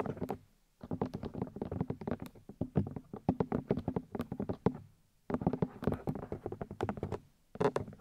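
Long nails and fingertips tap rapidly on the soft white silicone ears of a 3Dio binaural microphone. The result is dense bursts of short, dull, low thuds with quick clicks, broken by brief pauses. Each tap dies away almost instantly.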